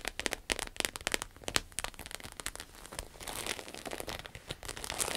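Long acrylic nails tap and scratch a small, flat, red glossy croc-embossed vinyl wallet lying on a table. Sharp, bright clicks and crinkly crackles come in quick, uneven bursts, then blend into a steadier, hissy scratching toward the end.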